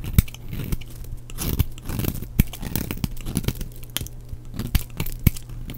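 A flat knife blade shaves and scrapes shreds from the edge of a red-and-pink striped solid bar of dry soap held in one hand. The clip is a continuous dry, crunchy scraping and tearing, with sharp clicks standing out from the rasp. A steady low hum runs underneath throughout.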